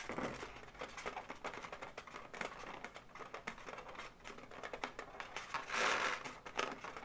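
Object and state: Latex balloon animal tapped and scratched with nails.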